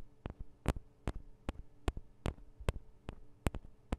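Long acrylic nails tap on the two small cylindrical metal microphone capsules of a Tascam DR-40 recorder. There are about eleven short, sharp taps at an uneven pace, each with a dull low thump and a bright click that dies away at once. A faint steady low hum sits underneath.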